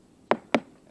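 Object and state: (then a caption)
Solid wooden hull plank. Two knocks on a wooden hull plank, each a short, dry, mid-pitched thud that dies away almost at once. The plank is solid, though a check in it can still be heard when it is lightly tapped.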